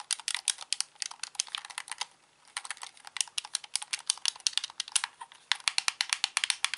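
A hollow plastic Xbox controller is held in both hands while its buttons and d-pad are clicked rapidly with the thumbs. The result is a dense stream of sharp, dry, bright plastic clicks with almost no low end, a brief pause near the middle, and then the clicking resumes just as fast.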